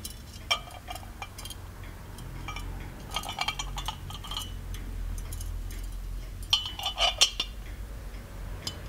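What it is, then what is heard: Gold-plated metal lamp, tapped. Fingertips tap the lid and embossed body of a small, ornate, hollow gold-plated metal genie lamp on a pedestal base. Sharp, bright metallic clinks ring briefly over a low steady background hum, with clusters of taps around the middle and the loudest near the end.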